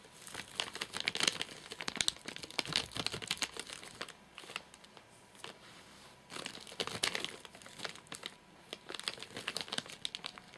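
Fingertips and nails tap and scratch the top of a full, flat rectangular nougat bar in a crinkly plastic wrapper. Dense bursts of bright, dry crinkling and scratchy rustle come in uneven clusters, with quieter gaps around four to six seconds and before the final flurry. The sound is almost entirely high-pitched, with hardly any low end.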